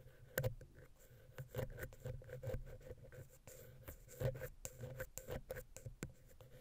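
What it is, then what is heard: Metal microphone capsule scratched and tapped with a wooden pick. A wooden ear pick, held vertically, scratches and taps between the heads of the small, hollow silver metal X/Y microphone capsule on a Zoom H6. Soft scratching runs through the clip, broken by irregular muffled taps with a low, boomy body around 130 Hz and a faint hollow ring near 500 Hz. Each tap dies away quickly.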